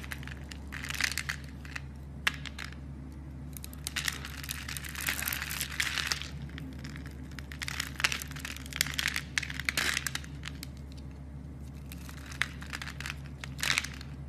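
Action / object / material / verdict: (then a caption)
scrape / bar of soap / soap / none. A solid, hand-sized rectangular blue bar of soap, pre-scored into a grid, is held in a hand with long dark nails while its small cubes are crushed and flaked off with fingers and a blade. Bursts of crisp, bright crunching and crumbly crackling come and go, with occasional sharp snaps, over a steady low hum.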